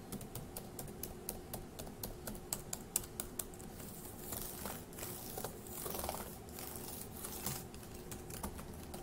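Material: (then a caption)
Plastic. Fingertips of one hand tap the plastic keys of a dark grey laptop keyboard in a steady run of quick, short, bright clicks over a quiet low hum. In the middle stretch the tapping gives way to a softer, breathy rustling wash before the clicking resumes to the end.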